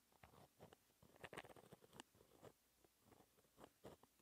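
A pen tip scratches small handwriting strokes and brackets onto a flat, thin black paper sheet. Quiet, dry scratching comes in short bursts with brief pauses, a few strokes sharper and brighter than the rest.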